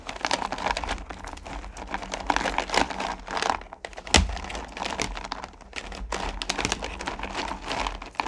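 Fingers push down and rake through a pile of small solid pumpkin candy corn in a purple plastic pail. The candies give off a dense, continuous clatter of crinkly clicks and shifting rattles, with one sharp, louder clack about halfway through.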